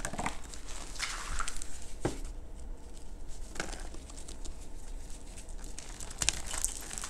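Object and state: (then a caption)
Reformed gym chalk block being crumbled. A hand-sized, solid block of teal reformed gym chalk is squeezed and crumbled between bare fingertips over a pile of lilac chalk powder. The crushing and rubbing make soft, gritty crunches and dry, high crackles over a steady low hum, with brighter crumbling near the end.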